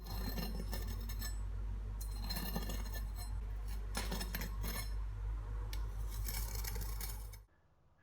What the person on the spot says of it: Before I cut into it, listen to how crispy the skin became.